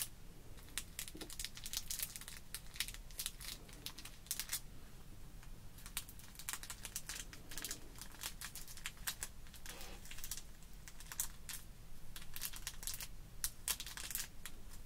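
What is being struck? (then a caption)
Sequins in a clear plastic blister card. A small paintbrush keeps brushing and scratching across the clear plastic compartments of a card-backed package of sequins held flat on a wooden table. The result is a dense run of quick, dry, bright scratches and crinkly ticks over a quiet low hum.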